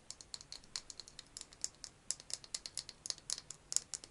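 A small hollow pink plastic egg-shaped case, held in both hands, is tapped and scratched with fingernails. About 27 quick, dry clicks and taps come in a fast, uneven stream over four seconds. They are sharp and bright, with almost no low end and no ring after each hit.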